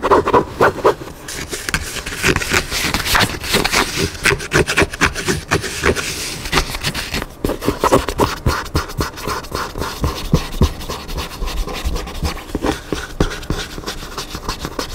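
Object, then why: Paper hardcover book. Fingertips and nails of both hands scratch and tap along the page edges and black cover of a large Magnolia Table hardcover cookbook, a solid stack of paper pages lying flat on a table. Quick, irregular dry rasps and soft papery taps follow one another closely, with a bright scratchy hiss over a dull low thud. The texture stays busy and uneven for the whole clip.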